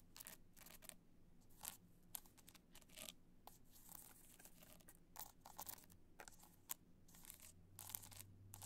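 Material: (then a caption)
Rhinestone. Long nails tap and scratch the rhinestone face of an upright black multicolor rhinestone hard-shell clutch. It makes quiet, dry, bright scratching bursts and crisp clicky taps that stop instantly, over a faint, steady low hum.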